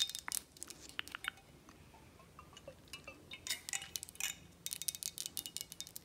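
Long acrylic nails tap and scratch the flat sides and labels of a square glass 1800 Añejo tequila bottle, full of amber liquid and held in hand. Quick, bright glassy clicks come in clusters, with a quieter stretch of soft scratching in the middle before a dense run of rapid taps at the end.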